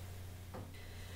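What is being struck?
Nothing is struck.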